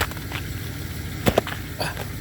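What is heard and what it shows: A solid layer of ice left by freezing rain on the ground is knocked on or walked over, giving short, sharp, glassy clicks over a low background rumble. The hard, solid ice sheet rings bright and brittle, like glass.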